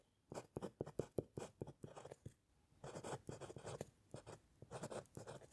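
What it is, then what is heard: Pen nib writing on paper over a wooden clipboard. A metal fountain pen nib scratches across a white paper sheet resting on a flat, solid wooden clipboard during steady handwriting. Quick, dry scratchy strokes come in bursts with a short pause in the middle, each stroke brief and papery with a bright edge.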